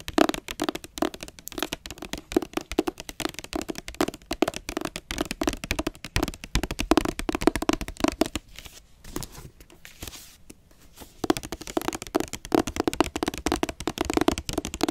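Long nails tap and scratch across a blue hardcover book with a glossy dust jacket, first on the back cover and then on the front. Quick, dense clusters of dry, hollow-sounding taps run throughout, easing into a quieter stretch of softer scratching in the middle before the rapid tapping picks up again.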